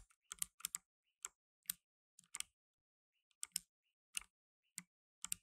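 Blue nitrile-gloved fingertips type steadily on a black tenkeyless mechanical keyboard with plastic keycaps. The keys make quiet, sharp, bright clicks in short bursts with brief pauses between them. Each click stops almost instantly, with no ring.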